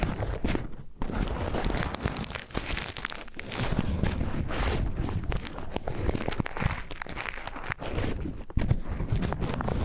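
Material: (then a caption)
Paper. An empty white paper tea filter bag, held in both hands, is crinkled and rubbed with the fingertips close to the microphone. The result is a steady, dense papery crinkling and rustling with a heavy low-end body and soft, close texture, broken only by a few brief dips and louder crackles.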